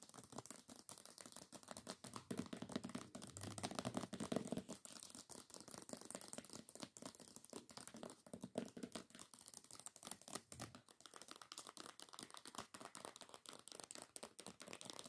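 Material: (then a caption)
Paper, cardboard. Long nails rapidly tap and scratch the paper dust jacket of a solid hardcover book. The result is a dense, quiet stream of crisp, dry clicks and papery scratches that stops almost instantly after each stroke.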